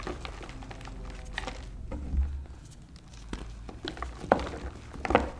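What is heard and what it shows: Fingertips with short painted nails crush and rub reformed white gym chalk (magnesium carbonate) blocks, dry, brittle lumps and powder with dried pink paste patches, in a blue tray. Soft, irregular crumbling and crinkling fills the clip over a low background rumble. Sharper crunches stand out near the end as the lumps break down into powder.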